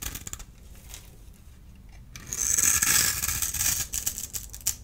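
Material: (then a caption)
Soap. A small blade tool scrapes a solid blue-and-white striped dry bar of soap held in the hand, sending crumbs falling. Soft, faint scratching gives way at about two seconds to a louder, bright, crackling scrape full of crisp high ticks, which then eases into scattered crumbly clicks.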